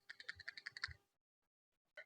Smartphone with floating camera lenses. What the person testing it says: with the primary and telephoto lenses all ois enabled which explains this rattling when you shake it